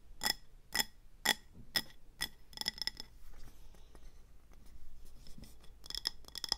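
Long nails tap the sides of a speckled grey-green glazed ceramic planter with an orange rim, filled with pebbles and a succulent and sitting on a table. Five evenly spaced, bright, clinking taps are followed by quicker clusters of taps and softer scratching. The pot is then gripped and tilted with quiet handling sounds before a final burst of sharp taps.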